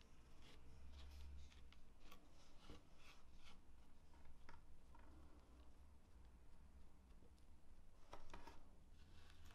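Fingertips and long nails of both hands rub and push a pile of finely chopped walnut crumbs into a mound on a dark speckled cutting board. Quiet, dry rustling and gritty scraping come with scattered brief, bright crackles over a steady low hum, and the crumbs end up gathered in a mound.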